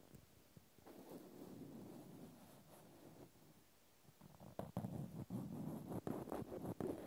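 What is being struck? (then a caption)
Natural cork stopper. A cotton swab scratches along the textured side of a small, solid natural cork stopper held in the fingers. It starts as a soft, muffled, continuous rasp in the low-mid range. It then turns into quicker, louder and more separate scraping strokes.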